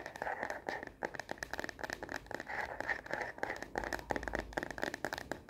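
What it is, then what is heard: Plastic phone case tapped with fingernails. Long fingernails tap fast on the back of a star-print plastic phone case fitted on a smartphone. The result is a rapid, dense run of short, dry clicks with energy concentrated in the midrange and brief bright ticks, punctuated by occasional scratchy passes.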